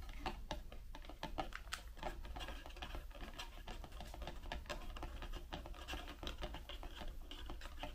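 Long pink nails scratch and rub the side of a white Raffaello cardboard candy box, hollow and mostly empty, standing on a table. The result is a steady stream of quick, dry clicks and scratchy rasps with very short decay over a low, constant hum.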